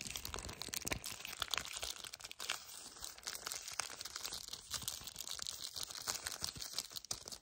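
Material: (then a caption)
Cardboard. A full yellow cardboard chocolate bar sleeve is gripped, squeezed and scratched with fingertips and painted nails. The result is a steady, bright stream of crinkling, crunching and scratchy rustles with quick, dry transients and almost no low end.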